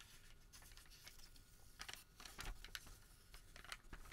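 Fingertips pull, flex and crinkle a long, thin Home Depot thermal paper receipt strip. Quiet, steady papery rustling is broken by sharper, brighter crackles, loudest near the middle and again toward the end. Each crackle is short and dry, with no ring after it.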